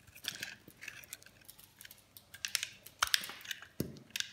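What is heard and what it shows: A metal blade shaves thick, crumbly slices off a solid green bar of dry soap held in the hand. Each cut gives a short, crisp, bright scraping crackle, coming in an irregular series with a few sharper snaps among them.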